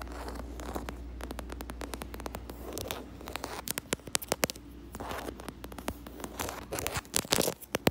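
Long acrylic nails scratch and tap quickly across a large, flat black leather (possibly faux leather) panel with double-stitched seams and a solid backing. Dry, bright clicks and scraping strokes sit over a steady low hum. The taps grow sharper and louder toward the end.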